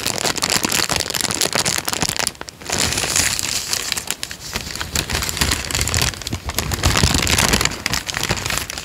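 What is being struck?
Thin paper sheet.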